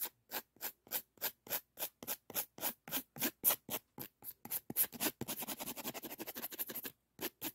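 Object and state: Emery board nail file.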